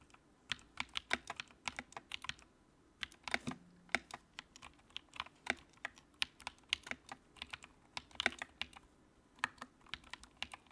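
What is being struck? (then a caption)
Plastic mechanical keyboard. Fingertips type on the keycaps of a compact white plastic mechanical keyboard with backlight. The result is a steady run of sharp, bright clacks with very short decay, coming in quick bursts separated by brief pauses.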